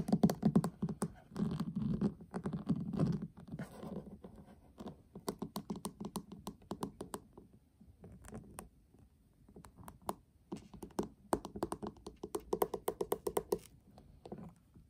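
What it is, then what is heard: Metal tin eyeshadow palette. Short fingernails scratch and tap the pink lid of a flat, hollow metal tin eyeshadow palette with a gold rim, both on a table and close up. Dense bursts of soft scratching and quick, irregular clicky taps come and go, with a low hollow tone around 200 Hz, and the taps ring out almost instantly.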